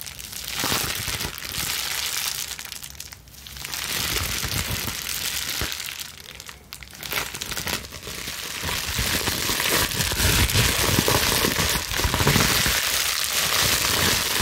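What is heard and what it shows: A plastic bubble wrap sheet is bunched in both hands and vigorously scrunched and twisted with long nails. It gives a dense, bright crinkling and crackling that barely lets up, easing briefly twice before building to its loudest, busiest stretch near the end.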